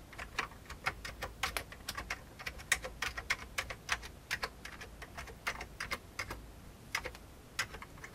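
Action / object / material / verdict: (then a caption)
tap / plastic computer keyboard / plastic / none. Fingertips of the right hand type on the keys of an old, full-size vintage beige plastic computer keyboard. A steady, uneven run of sharp, separate clacks rings briefly, with a bright clicky tone and little low end over a soft background hiss.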